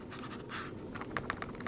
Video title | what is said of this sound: Remington V3 Tactical: Is It The Best Home Defense Shotgun? | you might can hear him a little bit ... if you really rattle it okay but you got to shake it hard